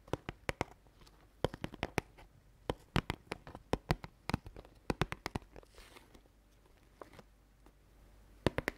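A medium cardboard oat flakes cereal box (Chabrior Flocons d'Avoine), held upright in both hands close to the mic, is tapped rapidly with long dark-painted nails. The result is dry, sharp clicks in irregular bursts that stop dead, with a soft brushing sound during a short pause.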